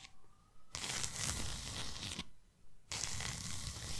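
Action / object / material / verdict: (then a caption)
scrape / cardboard box / cardboard / none. Long nails scratch and tap the sides of a tall, narrow, closed white cardboard box. Two long bursts of dense, rough, broadband scraping carry a bright hiss over a low rumble, separated by a brief quiet pause.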